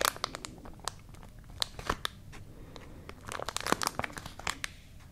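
A tall white paper "Sea Spaghetti" pouch with a clear plastic window, partly filled with dried seaweed, is held in both hands and squeezed and crinkled with fingertips and long nails. Sharp, bright crinkles and crackles come in bursts, separated by quieter stretches of soft rustling, with a dense cluster near the end.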